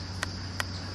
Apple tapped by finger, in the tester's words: ton ton बोल रहा है ये, और नहीं तो ये दब दब बोलता